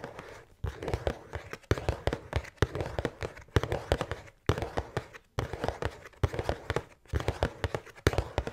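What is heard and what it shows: Long painted nails tap and scratch the front of a large, flat, printed cardboard Utz Halloween pretzel treats box, held up in one hand, hollow and apparently full of snack bags. Quick bursts of dull, hollow taps with scratchy texture are separated by brief pauses. The sound is low and soft, with almost no ring.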